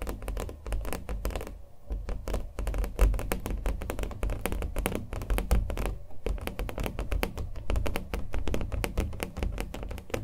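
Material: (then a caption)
Canvas. A small acrylic-painted canvas, stretched on a hollow-backed wooden stretcher frame, is held in the hands while it is tapped and scratched with fingernails. Rapid, dull, drum-like taps with a deep low thump and very short decay run almost nonstop, mixed with papery scratching. There are brief lulls near the two- and six-second marks.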